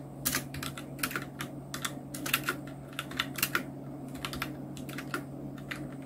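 Continuous two-handed fingertip typing on a full-size black Nubwo Illution NK-70 mechanical keyboard with Outemu red switches, round plastic keycaps and blue backlight. Rapid, bright plastic key clacks come in uneven bursts with short, dry decays over a steady low hum.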